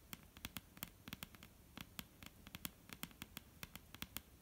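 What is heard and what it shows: Long painted nails on both hands tap and lightly scratch a solid, dark brown wooden table top. About 25 quiet, sharp, dry clicks come in an uneven patter, each with a bright top and almost no ring. A faint scratchy hiss runs underneath.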